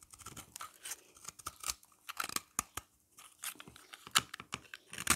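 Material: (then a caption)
Soap. A hand-held, solid, oval yellow bar of dry soap has its flat face scraped with a utility knife blade, leaving powdery flakes. A rapid series of short, dry, crisp scrapes and crunchy scratches is heard, bright and hissy with almost no low end, separated by brief quiet gaps.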